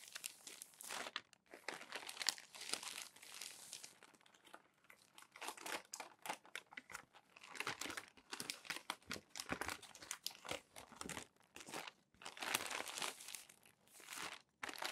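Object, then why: Glossy paper magazine. A crumpled glossy paper magazine is handled as hands turn and press down its pages, making dense, bright crinkling and crackling in bursts with short quiet gaps. The sound is crisp and papery, with almost no low end and very short, dry decays.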